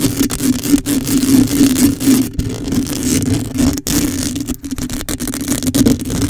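Long nails on both hands scratch a black metal wire-mesh microphone dome grille, making a dense, continuous scratching and rustling. A steady hum sits around 260 Hz, and bright, airy scraping noise runs over it, with brief dropouts between strokes.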